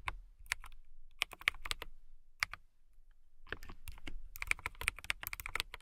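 Long nails and fingertips type on a compact transparent acrylic mechanical keyboard with clear plastic keycaps and a clear case. Sharp, bright, short clacks centered near 2.3 kHz come in irregular bursts, with a soft low thump under each press. Typing pauses briefly around the three-second mark, then resumes faster and denser.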